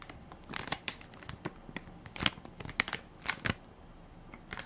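A full baby wipes pack made of soft plastic film with a plastic lid is held in one hand while fingertips and nails crinkle and scratch its film top. The result is a quiet, bright series of irregular crinkling and crackling bursts, with sharp scratchy clicks that stop quickly against a soft rustling background.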